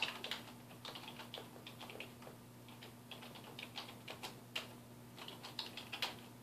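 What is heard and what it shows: Fingertips of both hands type on a black plastic computer keyboard resting on a wooden desk, producing an irregular run of quick, bright key taps that click and fade fast. A faint steady low hum runs underneath.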